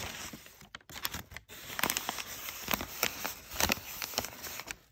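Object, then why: Kraft packing paper. A hand with short nails squeezes and scratches bunched, crumpled folds of brown kraft packing paper. It makes a steady run of bright, dry crinkles and crackles with sharp snaps. The sound drops to near silence for brief moments and fades at the end.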